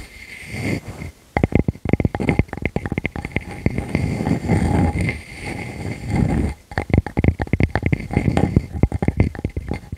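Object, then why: Round wooden slice. Long nails on both hands scratch rapidly across the flat face of a solid, palm-sized round wood slice with visible rings. The result is a dense, low, rumbling scratch broken by quick sharp ticks and clicks, with brief near-silent pauses around the 1- and 6.5-second marks.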